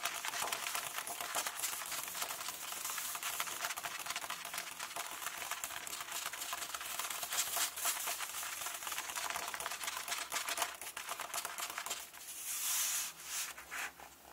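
Fingertips tap and rub the text pages of an open hardcover book lying on a table, making a dense run of crisp, bright paper taps and scratchy rustles with no low end. Near the end the finger points and traces along the lines of text, turning the sound into a smoother, brief swishing before it fades.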